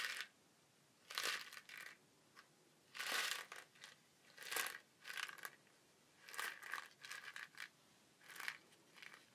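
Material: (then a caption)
Woven fibre. A small cone-shaped shaker of colourful woven fibre with a flat wooden base is held in the hands, turned and shaken so the contents inside rustle. Short bright, hissy bursts of rattling come in uneven clusters, each dying away almost at once, with quiet gaps between them.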